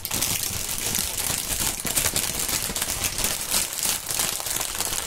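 A thin, clear plastic air-cushion packaging film, an air-pillow packing strip with green print, is stretched between two gloved hands and crinkled and squeezed. It makes a dense, continuous bright crinkling and crackling with a faint low rumble underneath, steady for about five seconds.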